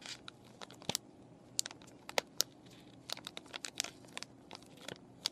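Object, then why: Plastic and cardboard paintbrush package. Fingernails scratch and fingers crinkle a clear plastic and cardboard paintbrush package with the brushes still inside. Quiet, bright crackles and crinkles come in a scattered series of sharp, dry clicks over a low hush, each one stopping almost instantly.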